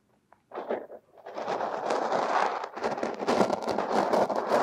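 Two metal hook tools scrape and dig through purple crumbly kinetic sand packed over a silicone nose, working at the nostrils. After a faint tick, short gritty scraping bursts build into a steady, dense crunching and rustling with a bright, crackly edge. The scraping grows slightly louder toward the end.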